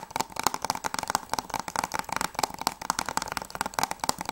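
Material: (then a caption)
Plastic. Fingertips and nails tap quickly on the front cover of a closed, hollow plastic PS3 game case (Journey Collector's Edition) held upright. The result is a fast, uneven run of short, dry, clicky taps with a hollow tone near 880 Hz and bright edges. Each tap stops almost instantly, with no ring.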